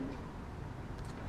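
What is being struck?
Nothing is struck.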